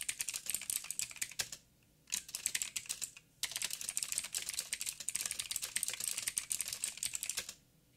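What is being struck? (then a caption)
Mechanical keyboard with plastic keycaps. Both hands type with fingertips on a backlit 87-key mechanical keyboard with plastic keycaps and clicky blue switches. The typing comes in fast, bright, crisp clicks. There are short pauses near 1.7, 2.9 and 7.5 seconds.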